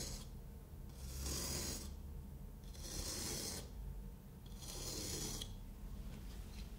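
A craft knife blade scores a solid kinetic sand block into a grid, giving scratching, cutting sounds. Three drawn strokes of bright, gritty rasping stand out over a low, steady rumble.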